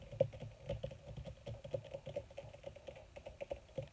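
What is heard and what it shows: Long red fingernails on both hands tap quickly across a flat, black, crinkled leather or faux leather surface. A rapid, uneven run of short, dry clicks with a soft low thud and a mid-pitched knock around 540 Hz. Each tap stops dead with no ring.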